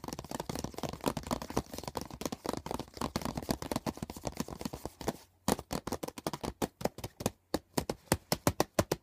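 Fingertips and nails tap fast on the printed cover of a closed, thin and hollow hard plastic CD box set case lying on a blanket, then along its edge. For the first five seconds the taps blur into a dense, rapid patter of dry, hollow clicks. After that they turn into sharper, evenly spaced ticks with brief silences between them.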